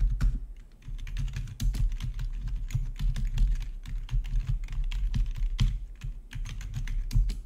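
Fingertips type steadily on a full-size black plastic backlit RGB membrane gaming keyboard with a hollow body. Dense, rapid clicks and taps come with a deep thudding low end. The keystrokes overlap into an irregular, continuous patter.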